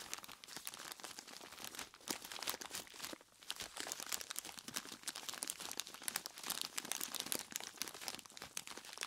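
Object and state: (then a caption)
Plastic bag of ice cubes. Long plastic claw tips scratch and squeeze a large clear plastic bag full of ice cubes. The result is a dense, bright crinkling and crunching of plastic and shifting ice, with many quick clicks and a brief quieter pause partway through.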